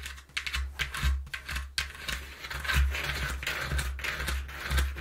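Long nails tap and scratch the inside panel of a partly folded, empty and hollow brown corrugated cardboard box. Quick, dry taps mix with bright, papery scratching rasps over a steady low, hollow rumble. The result is an uneven run of clicky strokes that sound much like typing.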